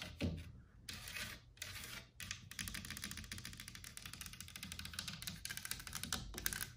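Long black nails tap and scratch along the leaf-motif carvings and frame edge of a large, solid, white-painted, distressed carved wood wall panel mounted on the wall. Rapid, dry, bright clicking taps and scratchy rasps run in quick succession, with a brief louder knock near the start and very little ring after each hit.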